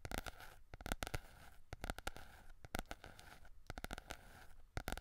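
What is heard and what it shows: Fingertips and nails scratch and tap the glossy yellow card cover of a small softcover Berlitz German phrase book with a solid paper block, held in both hands close to the microphone. Quick, dry scratching and tapping sounds come in clustered bursts with a low rumbling undertone. The bursts fade almost instantly, and quiet gaps fall between them.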